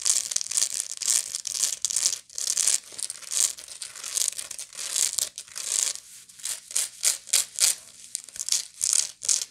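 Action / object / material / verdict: scrape / woven straw bag / straw / none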